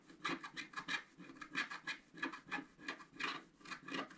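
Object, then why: Scratch-art paper card and wooden stylus. A wooden stylus held in the fingers scratches away the coating of a thin, solid, flat black-coated scratch-art card page from a scratch book, lying on a table while the other hand holds the card. A quick, uneven series of short, dry, raspy strokes sounds bright and scratchy with a faint low tonal hum underneath, and each stroke dies away almost at once.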